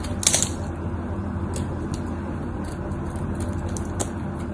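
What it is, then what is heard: Bar of soap being carved. A craft knife carves into the scored face of a solid, cream-colored bar of white soap, and crumbly pieces break off. Crisp, bright scraping and crackling ticks sound over a steady low hum, with a sharper snap near the start and another toward the end.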